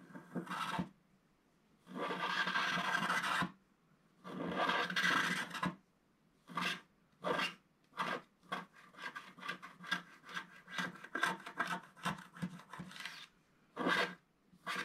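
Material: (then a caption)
Coated paper. A wooden stick scratches the lower edge of the coating on a scratch-art paper page held flat by the left hand. Three long, dry rasping strokes are followed by a run of quick, short scratches, with bright, gritty noise centred around 1.6 kHz and brief silences between strokes.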